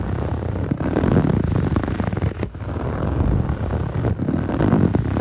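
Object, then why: Textured foam yoga mat. Fingertips with short nails scratch the nubbly surface of a blue textured foam yoga mat, a soft solid sheet. The result is a dense, continuous, muffled scratching that stays low and dull with almost no bright edge, easing briefly midway before picking back up.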